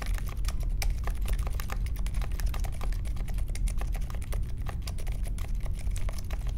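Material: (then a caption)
Plastic. Fingertip typing on the plastic keycaps of a compact Polaris mechanical keyboard with Silent Alpaca switches and a metal case, resting on a marble desk. A steady stream of quick, soft, muted clicks and taps runs throughout over a low, heavy rumble, each keystroke dying away almost instantly.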